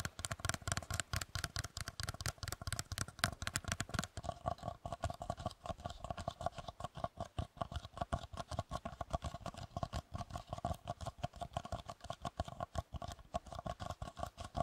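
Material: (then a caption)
Paper. Long fingernails and fingertips rapidly tap and scratch the sides of a small, hollow, pink polka-dot paper or cardboard bake cup resting on a dark surface. The result is a dense run of short, dry clicks with a dull low body and a faint steady hum underneath. After about four seconds the high, crisp edge of the taps softens and the strokes sound duller.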